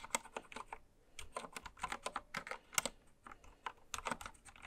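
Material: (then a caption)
Plastic. A full-size white-cased mechanical keyboard with pastel plastic keycaps, lying on fabric, is typed on continuously with long nails and fingertips. The result is a quick, irregular run of short, bright plastic clicks and clacks. Each keystroke dies away almost instantly, with very little low end.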